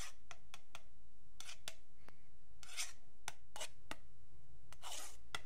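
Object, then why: Wooden ruler scratched with a metal pick and pen tip. A long, flat, solid wooden yardstick is scratched along its marked edge, first with a thin metal pick and then with a metal pen tip. The result is a series of short, bright, raspy scrapes of varying length over a steady low hum.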